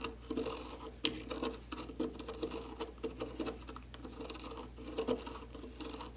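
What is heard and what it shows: A porcelain pestle grinds and scrapes fine white powder in circular motions inside a white porcelain mortar held in a gloved hand. The result is a steady, quiet gritty scratching with many short, dry ticks and clicks, one sharper click standing out near the one-second mark. A faint high ring runs over a thin low hum throughout.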